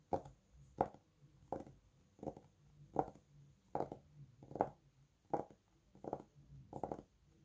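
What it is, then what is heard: Paperback book, fingertip tapping. Fingertips tap the glossy cover of a thick red Bescherelle paperback book, producing ten short clusters of dull, muted taps at a steady, unhurried pace. Each tap is soft and midrange, dying away almost at once with no ringing.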